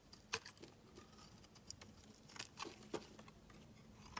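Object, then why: Bar of soap shaved with a knife blade. A utility knife blade shaves a solid, translucent, hand-sized orange soap bar, curling off flakes. Quiet, bright scraping and crisp little clicks come in short, uneven bursts, with a few sharper snaps standing out over a soft background hush.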